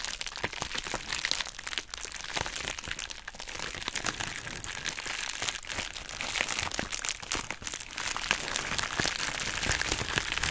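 Long nails scratch and squeeze the bubbles of a hollow, pink, heart-shaped plastic bubble wrap mailer bag. The result is a steady, dense stream of bright crinkling and sharp crackling clicks with little low end, and the texture thickens slightly in the second half.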